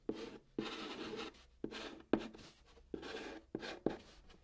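White chalk held in the fingertips scratches out a new line of Korean text on a large, flat brown cardboard surface. Short, dry, gritty strokes start with sharp taps and fade into brief scraping rasps, separated by small pauses.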